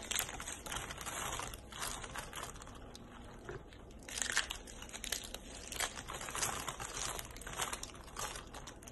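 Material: Soap.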